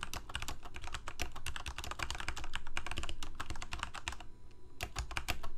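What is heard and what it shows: Fingertips of both hands type rapidly on a full-size black plastic Corsair mechanical keyboard with lit keycaps. A fast, steady stream of sharp, clacky key presses with a deep low thump beneath them slows into a brief lull just after four seconds, then picks up again.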